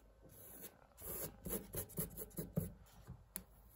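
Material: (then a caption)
Fabric. A hand rubs and scratches its nails across a thin, printed woven fabric wall tapestry bearing the word "STAND." It starts with a soft, steady rub, then a run of short, dry scratching strokes with a faint bright hiss. The sound is quiet and close, and each stroke fades almost at once.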